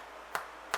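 A sweet potato and bacon damper loaf, fresh from 30 minutes in the oven, is tapped twice, giving two short, dry, hollow knocks centred around 1.2 kHz. The hollow sound shows the loaf is baked through, an alternative to testing with a skewer.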